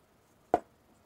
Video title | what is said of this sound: Don Shower Head Combo put hose on backwards & Soaking CLR Cleaner Results & Flow Regulator info Pt2 | it's plastic it's just I don't know why it sounds like metal